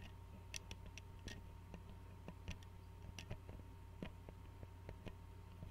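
Fingernails tap and click on the screw cap and glass neck of an Arizona glass tea bottle held sideways. Fourteen short, quiet, bright ticks are spread unevenly over a low steady hum, each dying away almost instantly.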